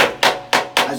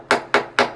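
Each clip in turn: First: blown (detached) wall plaster. Second: solid plaster.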